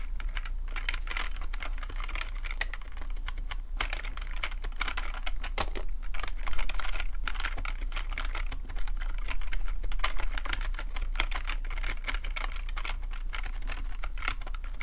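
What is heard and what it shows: Fingertips type steadily on a full-size black plastic computer keyboard with a hollow plastic body, producing a rapid, irregular stream of short, bright key taps. A constant low hum sits underneath the clicking throughout.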